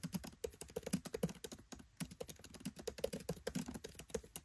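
Fingertips type rapidly on a MacBook Pro 13 keyboard with black plastic keycaps set in an aluminium body. The result is a steady stream of quick, soft key taps, each a short dull click with a low thump and a brief bright tick that dies away almost at once.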